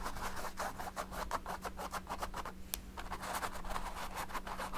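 A paint brush is rubbed and scrubbed back and forth over the lower dark area of a large stretched canvas painted with oil paint. It makes a rapid run of soft, scratchy brushing strokes over a steady low hum, with one brief sharp high click partway through.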